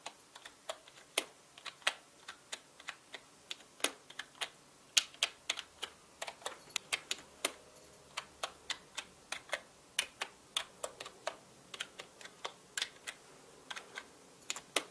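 Fingertips tap and type on the plastic keycaps of a full-size black mechanical keyboard, giving about forty sharp, bright clicks that die away almost instantly. The keystrokes come in uneven bursts, some clustered quickly and some spaced apart, with nearly no low end beneath them.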